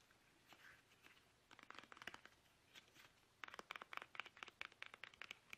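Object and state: Plastic toothpaste tube.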